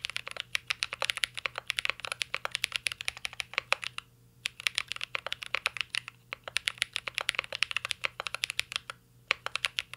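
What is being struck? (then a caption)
Mechanical keyboard, plastic keycaps, aluminium case. Fingertips type continuously on a mint-green Cyberboard R3 mechanical keyboard with plastic keycaps and an aluminum case. The result is a rapid stream of short, bright key clicks with almost no low end, broken by brief pauses near the 4-second and 9-second marks.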